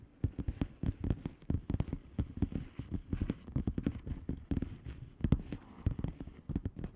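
Long painted nails on both hands tap and scratch the bubbles of a blue plastic bubble wrap mailer lying flat. The result is a steady run of soft, quick, dull taps with very short decay, mostly low in tone, mixed with faint scratchy patter.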